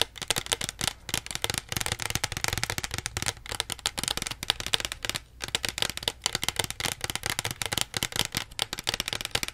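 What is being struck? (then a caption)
Small plastic soda bottle. Long nails tap fast on the label and plastic body of a small plastic Pepsi bottle held beside the face. The result is a dense, continuous stream of short, bright clicks that stop almost instantly, with only a brief lull near the middle.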